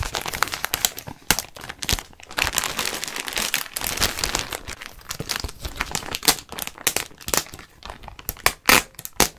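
Fingertips scratch and crinkle a clear plastic garment bag with a white label, holding a white knit sweater. The result is a steady stream of bright, dry crinkling and crackling, with many sharp, quick snaps rising above denser rustling bursts.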